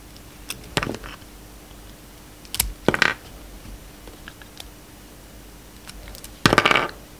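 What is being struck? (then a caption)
Soap bar. A solid blue and white bar of soap held in the hand is carved and shaved with a box-cutter blade. Short, crisp scraping and cutting bursts with a bright edge are separated by quiet pauses, with the longest, loudest shave near the end. A faint steady hum sits underneath.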